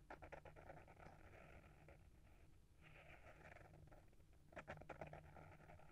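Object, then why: Hardcover book with paper-wrapped board cover. Short fingernails scratch the front cover of a small, solid hardcover book with a paper-wrapped board cover, held in the hand. The quiet scratching rasps steadily over a low hum, with brisker, brighter strokes at the start and again near the end.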